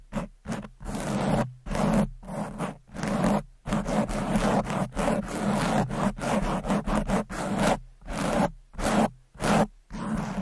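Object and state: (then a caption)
Foam microphone windscreen scratched with nails. Long pointed acrylic nails scratch fast and hard across a rounded red foam windscreen, the soft porous cover over a microphone. The result is a rapid, uneven series of dense, rustling scrape bursts with brief silent gaps between them. The scraping has a low, close thump and little bright hiss.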